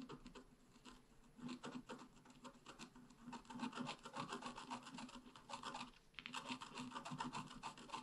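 A wooden stylus scratches fine lines into a flower on a flat black-coated scratch art paper card lying on a table. Quiet, rapid, uneven strokes rasp and scrape with a bright, papery texture, pausing briefly near the six-second mark before resuming.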